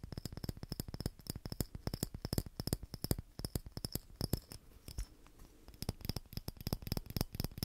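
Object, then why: Small glass Christmas bauble with a metal cap. A small hollow clear glass Christmas bauble with a metal cap and ribbon is scratched and tapped with fingernails. Rapid, dry, close taps with a low knock and a bright glassy click come in a dense, uneven series. A brief softer scratching lull comes before the tapping resumes.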